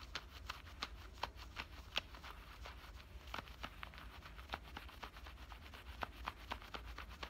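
Fingernails scratch and pinch the pocket edge and stitching of worn black denim cutoff shorts. The result is a quiet, steady run of short, dry, scratchy ticks with bright edges, each dying away almost instantly, over a low, constant rumble.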